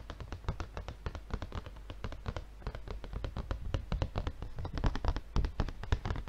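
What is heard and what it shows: The fingertips of one hand tap rapidly on the film-covered front of a tilted, red plastic-wrapped paper refill pad. The result is a fast, steady patter of short, dull, low-pitched taps with faint crisp edges from the plastic film. Each tap dies away almost instantly.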